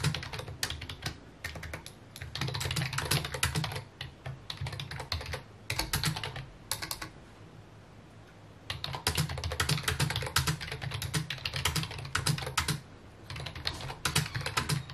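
Fingertips tap the keys of a full-size white and mint plastic computer keyboard with hollow key housings, resting on a wooden desk. Quick bursts of clacky keystrokes have a hollow low body and bright click tops, each dying away almost at once. The typing runs in fast flurries, with a pause of about a second and a half near the middle before it picks up again.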